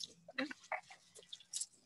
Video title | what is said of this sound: Native Plants at Noon - January 2021 | they usually have seeds on the inside and when you shake them they rattle